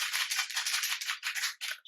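A plastic glitter setting spray bottle with a mixing ball inside is shaken rapidly, and the ball rattles like a maraca in a quick run of bright, hissy clicks. The rattling is high-pitched with no low end and slows into a few separate bursts near the end.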